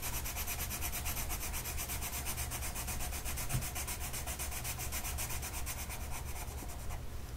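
A blue colored pencil tip is rubbed back and forth across a flat printed mandala coloring sheet of paper lying on a table and held by one hand. The result is a steady, rhythmic scratchy rubbing with a bright papery hiss over a low, soft rumble.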